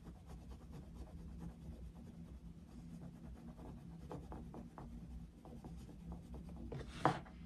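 A dark wooden coloured pencil shades a paper colouring book page, scratching and rubbing steadily across the paper in short, soft strokes over a low, steady hum. Near the end, a brief, louder bright scrape stands out before the quiet shading resumes.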